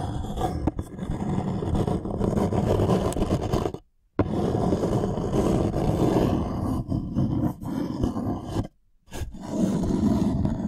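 Fingernails and fingertips scratch and rub a thin, light wooden serving tray held upright. The result is a steady, dense, rough scraping with a low, woody grain, broken by two short silences near 4 and 9 seconds.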